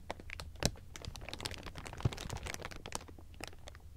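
A bunch of thin, clear plastic sheeting is squeezed and crumpled with both hands, giving a continuous, dense crinkling of quick, bright crackles. Two sharper, louder crunches stand out near the start and middle, over a steady low rumble underneath.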